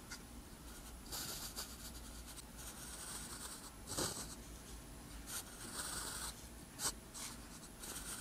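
A metal pen nib scratches across a flat, thin sheet of lined white paper while writing characters in green ink. The result is quiet, bright, breathy scratching in irregular strokes with brief pauses between them. Two slightly sharper ticks stand out near the middle and toward the end.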